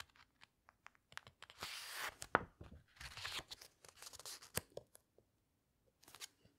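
Fingertips rub and turn the glossy paper pages of a large open hardcover book. Soft scattered ticks and taps alternate with longer bright, papery swishes and crinkles as the pages are rubbed and turned. The sounds stay quiet throughout.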